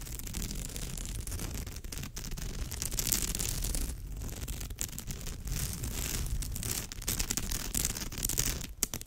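Long nails scratch and rub across the weave of a woven straw bag. The result is a continuous dry, crackly rasping with a bright hiss on top and a low rumbling texture underneath. The scratching never stops across the whole clip.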